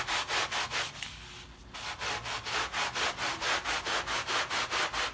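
A blue plastic bristle brush is scrubbed by hand across a small, wet, paint-filled fabric rug covered in thick white foam, leaving stroke lines. Steady, bright, hissing back-and-forth scrubbing strokes repeat at a brisk rhythm, with a brief quieter pause in the middle before the scrubbing resumes.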